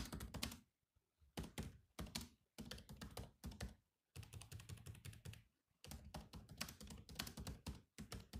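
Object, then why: Laptop keyboard with plastic keys. Fingertips type on a silver laptop's black plastic keys, producing bursts of quick, dry taps mixed with some heavier key thunks. The clicks stop almost instantly, with brief pauses between runs of typing and a low, thuddy body under a bright click.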